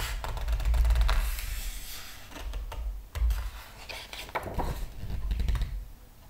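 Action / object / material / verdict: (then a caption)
scrape / hardcover book with glossy paper pages / paper / none. A large hardcover art book with glossy paper pages lies open on a table while fingertips and a palm rub, smooth and turn the pages. The result is irregular rustling and brushing, with bright papery swishes over soft, low thumps from the hand pressing the book.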